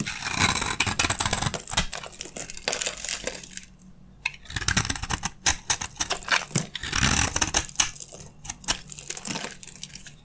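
A metal utility blade scrapes crunchy flakes from the side of a dry, solid beige soap bar held in the hand. Dense, bright, crisp scraping and crackling comes in rapid bursts, with a brief quieter pause midway before the scraping resumes.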